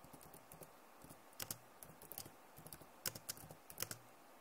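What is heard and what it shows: Both hands type with fingertips and nails on a backlit plastic laptop keyboard. The result is quiet, bright, crisp clicks and taps with very short decay, with a few louder key strikes standing out over a faint background hiss.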